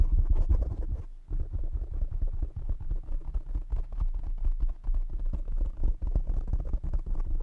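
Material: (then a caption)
Foam. Fingertips tap quickly on the sides of a black foam windscreen on a condenser microphone. The result is a dense, continuous run of soft, muffled low thumps and scratchy rustles, with a deep rumble around 60 Hz and almost no bright content. The tapping pauses briefly just after the first second.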